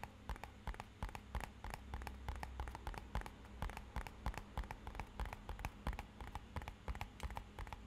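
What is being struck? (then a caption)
Small rigid cardboard box. A small, rigid, matte-black rectangular cardboard box, hollow and held upright, is tapped with fingertips and nails. Quick, irregular dry taps and clicks come in steady bursts with almost no ring, over a faint low hum.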